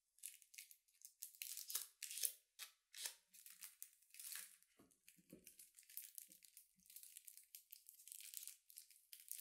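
Fingertips and nails scratch and squeeze the paper/film wrapper of a solid, hand-sized bar of soap with a printed label, held close. The result is quiet, bright crinkling and tearing in quick, uneven bursts, almost entirely high in pitch with no low end, each crackle stopping dry and short.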